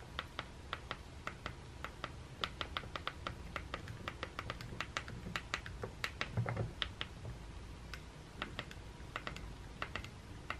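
A thumb repeatedly taps and presses the green rubbery button panel on a white plastic Sonicare electric toothbrush handle. The result is a long, irregular series of short, sharp, bright plastic clicks that die away almost instantly, over a steady low background rumble.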